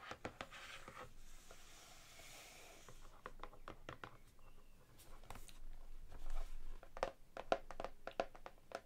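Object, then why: Hardcover book with laminated cardboard cover. Long manicured nails and fingertips tap and scratch across the glossy laminated cardboard front cover of a large, solid hardcover cookbook held upright on a table. A soft, scratchy brushing in the first few seconds gives way to a quick, irregular run of short, dry clicks and taps that ring only briefly. The final taps turn sharper and brighter.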